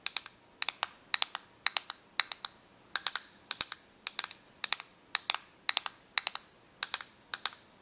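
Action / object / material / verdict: tap / plastic correction tape dispenser / plastic / none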